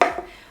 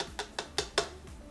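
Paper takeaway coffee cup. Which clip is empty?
The first.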